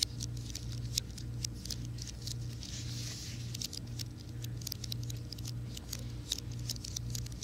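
Fingertips and nails tap the keys of a slim white plastic and aluminum wireless keyboard, held tilted and then laid flat. Quick, bright clicks patter irregularly over a steady low hum, with a soft hiss swelling briefly near the middle.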